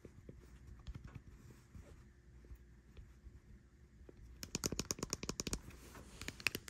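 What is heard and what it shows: Long white nails tap and click the buttons and casing of a white plastic air conditioner remote with an LCD screen and rubber buttons, lying on a bed sheet. Soft, muffled taps come first, then a quicker burst of sharp, bright clicks in the second half, each dying away almost at once.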